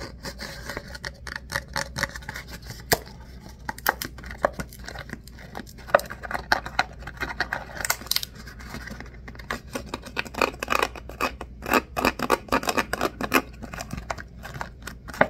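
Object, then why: Ribbed paper coffee cup. Fingernails scratch and tap the ribbed wall of an empty, hollow ribbed paper coffee cup held upside down in both hands. The result is a rapid, uneven stream of dry scratchy rasps and short papery clicks with a slight hollow tone and bright crinkly edges. Each sound stops almost at once with no ring.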